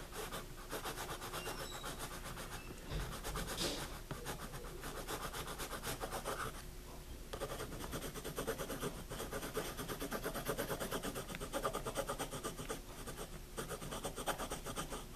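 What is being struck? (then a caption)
Wooden pencil on paper spiral notebook. A hand writes with a wooden pencil on the pages of a wire-bound paper spiral notebook lying flat, the tip scratching and tapping on the paper. The sound is a quiet, steady, dry scratching rasp with faint taps mixed in and brief lulls between strokes.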